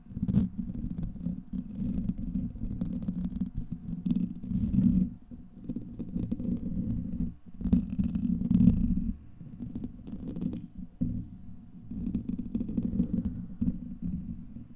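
Fingernails and fingertips of both hands scratch directly across the hollow, rounded steel wire-mesh head of a large condenser microphone. The result is a dense, continuous low rumbling scrape centered in the low-mids, with a thin brighter crackle on top. It swells and softens in waves, with brief lulls around five, seven and eleven seconds.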